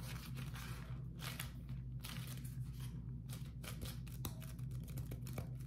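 A beeswax-coated cotton food wrap sheet is stretched flat, then twisted and crumpled by both hands. Bright, papery crinkles and crackles come in short bursts over a steady low hum.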